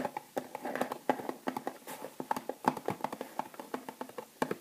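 Long nails tap quickly on a small, full retail package held in both hands: a clear plastic sleeve over a cardboard band holding three bath bombs. The result is a rapid, uneven run of short, dry clicks and taps, hollow-toned in the midrange, with little ring and no low rumble.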